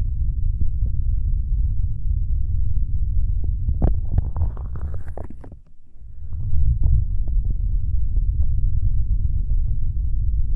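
Flat fingers of both hands rub and tap the hollow gray plastic shell of a binaural dummy-head microphone, producing a dense, continuous low rumble. Around the middle, sharper rubbing taps add brighter scratchy detail before briefly dropping quiet, then the steady low rubbing resumes.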